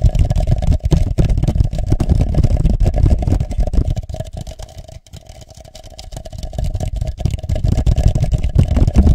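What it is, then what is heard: Plastic party cup tapped over a microphone. A hollow red plastic party cup is inverted over a microphone and tapped with the fingertips, then lifted off. The rapid, uneven tapping sounds deep and boomy, with a hollow resonant ring. It fades quieter in the middle before building back up to full level.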